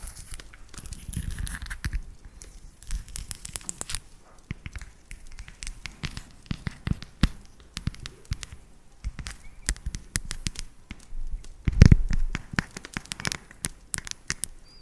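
A solid segmented dark chocolate bar, held upright, is tapped with long nails. The result is a rapid, irregular run of short, dry clicks and ticks that die away almost at once, with occasional louder knocks and a soft crinkly texture in between. A heavier thump comes near the twelve-second mark.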